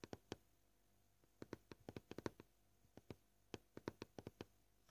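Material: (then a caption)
Plastic. Short painted fingernails of both hands tap a flat, solid white plastic cutting board. About 21 dry, gentle taps come at an uneven pace, some alone and some in quick clusters. Each tap has a muted low-mid knock that dies away almost instantly, with quiet pauses in between.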